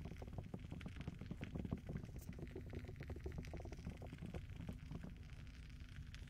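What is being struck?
Silicone microphone ear pieces.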